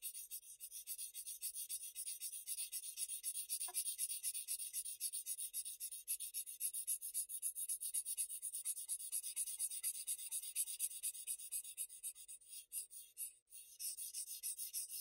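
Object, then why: Bristol paper sheet rubbed with a paper blending stump. A white paper blending stump rubs and blends graphite across a flat sheet of Bristol paper in fast strokes. It makes a quiet, bright, hissy scratching that pulses rhythmically at about four strokes per second with almost no low end. The rubbing runs steadily throughout, with a brief pause near the end.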